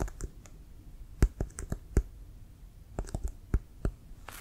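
Fingertips and nails tap and scratch on the printed leather of a brown Wilson leather American football, hollow and inflated, held in both hands. Short, dry clicking taps sound at uneven intervals, each with a low thump and a faint bright tick that dies away almost instantly. Quiet scratching fills the gaps between taps.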